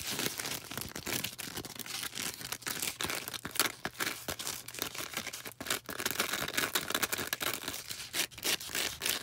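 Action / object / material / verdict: scrape / floral foam star / floral foam / none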